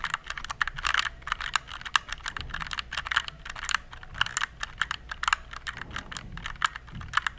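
Fingertips type steadily on a compact RGB plastic mechanical keyboard. The result is a fast, uneven run of sharp, bright plastic clacks, each key strike dying away almost instantly, over a faint low background hum.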